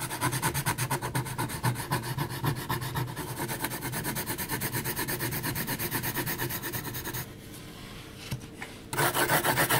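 A graphite pencil makes vigorous shading strokes across a flat sheet of heavy textured mixed media paper, giving a fast, rhythmic rasping scratch. Dense back-and-forth strokes run steadily, then drop to a quieter, smoother patch around the seven-second mark before loud, bright scratching resumes near the end.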